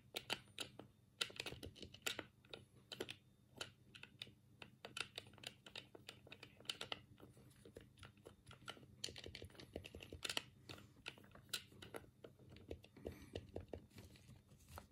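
A black, hollow plastic Sega Mega Drive controller is held in both hands while the thumbs press its D-pad and buttons. The result is a quiet, steady stream of rapid, bright plastic clicks with very short decay over a faint low hum.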